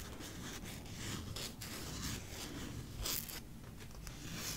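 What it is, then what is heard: Masking tape roll scratched. A wide white masking tape roll, paper tape on a hollow cardboard core, is turned in the hand while fingernails scratch and pick at the tape edge and side. The result is a quiet, steady stream of dry, bright scratching and picking with short raspy bursts and a low rumble underneath.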